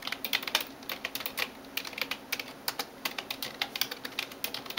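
A hand types rapidly on a backlit plastic computer keyboard with fingertips and nails. The result is a quick, uneven stream of short, bright, clicky taps with almost no low end and no lingering ring.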